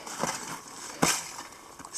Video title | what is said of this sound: Crossing the Bernese Alps in Winter -- Day 1 (Christmas 2017) | that glassy sound is the sound of ice crushing